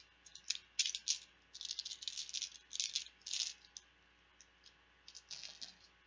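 Plastic Bananagrams letter tiles are rattled and shaken in quick bursts, giving bright, clicking clatter with short pauses between shakes. The sound is almost entirely high-pitched and dies away quickly after each burst.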